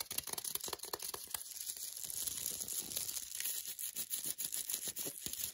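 Long nails rapidly tap and scratch the glossy paper wrapper of an unopened, foil-and-paper wrapped milk chocolate bar held in the hands. Quick, crisp clicking taps give way to a dense, hissy scratching, then return to rapid tapping. The sound is bright and papery with almost no low end.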